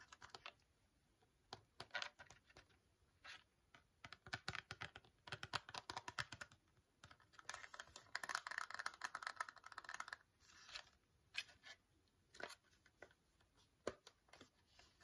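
A small, hollow blue and white cardboard box of teeth whitening strips is turned in the hands and tapped with fingernails on its back, ends and sides. The result is quick, dry, bright clicks in uneven bursts with almost no low end. Denser scratchy rubbing passages fill the middle of the clip.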